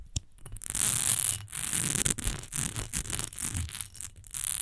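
Long nails tap and scratch the smooth sides of an upright rectangular glass perfume bottle, partly filled with amber liquid. Fast, bright, hissy scratching runs in bursts, broken by short tapping clicks and soft low thumps.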